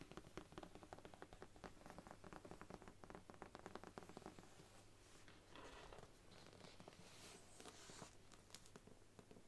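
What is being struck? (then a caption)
Thick book with faux leather cover. Long nails tap rapidly on the brown faux leather spine of a thick Bible, making a dense patter of soft, dull clicks. The book is then laid flat and its cover is tapped, giving lighter, scratchier taps with a brushing hiss.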